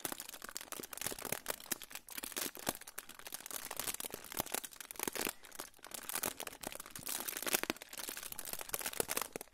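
A crinkled silver aluminium foil pouch is held in front of the microphone and crinkled and rubbed with fingertips. It gives a dense, continuous run of sharp, bright crackles and rustles with little low end, rising and falling in loudness throughout.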